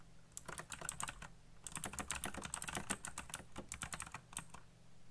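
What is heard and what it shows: Fingertips type rapidly on a black plastic RGB mechanical keyboard, producing about two dozen quick, bright clacking keystrokes in two bursts separated by a short pause. A steady low hum sits beneath the dry, short clicks throughout.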